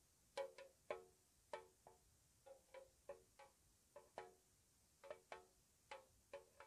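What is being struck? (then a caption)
Small square metal tea tin. A small, hollow, square white-painted metal tea tin is tapped on its side with long nails. There are 14 soft, separate taps, each with a short hollow metallic ring around 600 Hz and a bright click on top, at an uneven, unhurried pace.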